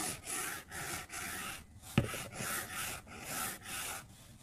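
A white plastic stylus makes quick rubbing strokes across the glass touchscreen of a solid iPad resting on a desk while filling in color. The strokes come as a steady series of soft, bright, papery swishes, with one sharp tap of the stylus tip on the glass midway through.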